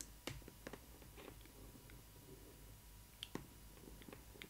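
Long red nails tap and scratch the flat side panel of a cardboard Disney ILY 4ever Stitch doll box printed with Stitch and flowers. Quiet, dry clicking taps stand out over a soft, steady scratching rustle, with each tap dying away almost instantly.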